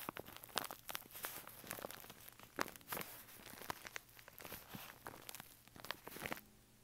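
Fingertips scratch and crinkle the paper wall of a hollow brown kraft paper bag with a snap button, standing on carpet. Quick, dry crackles and rustles come in a fast, uneven stream of bright, sharp bursts, then stop just before the end, leaving a faint low hum.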